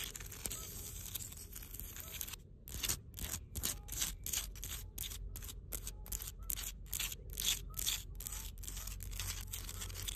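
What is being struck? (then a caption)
Granite rock. Long blue nails scratch and tap the rough surface of a large, solid granite rock by the sea. A continuous dry, bright scraping opens the clip, then breaks into a quick series of short, gritty scratch strokes with brief pauses between them. A steady low rumble sits underneath throughout.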